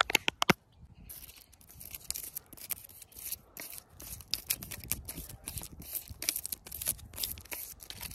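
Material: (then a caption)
Wood bark. Long pointed artificial nails tap and scratch along the rough, lichen-covered bark of a thick, solid fallen tree branch lying on grass. A quick burst of sharp, dry taps opens the clip, followed by steady bright scratching and rustling strokes with small clicks that stop dead with no ring.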